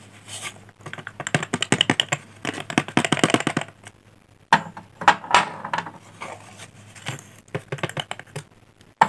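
Solid, finger-sized cylindrical pink blackboard chalk sticks are held in the fingertips and snapped into shorter pieces above an open cardboard chalk box resting on a glass mat. Quick, dry, sharp snapping cracks come in rapid clusters with short pauses between bursts, each crack dying away almost instantly.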